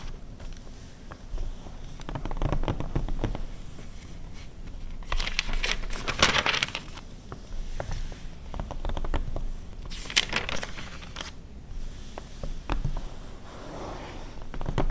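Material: Glossy paper.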